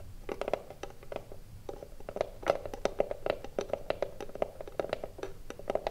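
Long blue nails scratch and tap quickly across the front face of a small, hollow wooden cigarillo box. The taps come as a dense run of short, dry clicks, each ringing briefly with a hollow mid-pitched tone. Soft scratching fills the spaces between them.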